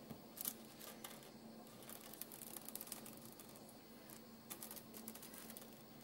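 Fingertips and nails tap and scratch across uncooked dry spaghetti strands spread flat on a white counter. Quiet, dry, bright clicks and brief scratchy rustles come in scattered bursts, over a faint steady low hum.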